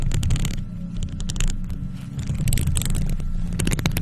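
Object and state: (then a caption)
Metal mesh microphone grille being scratched. Long nails on faux leather gloves scratch across a hollow, silver metal mesh microphone head. The result is a steady, heavy low rumble with bursts of bright, raspy scratching streaking over it.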